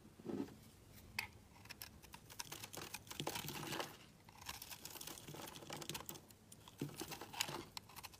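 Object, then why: Bar of soap scraped with a knife blade. A utility knife blade scrapes fine shavings off the face of a solid oval green-yellow marbled soap bar held in the hand. The result is a series of crisp, dry, crinkly scraping strokes with a bright, high edge, some short and others drawn out, with brief pauses between them.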